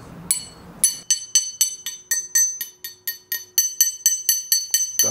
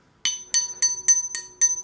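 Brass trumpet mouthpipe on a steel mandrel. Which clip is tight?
The first.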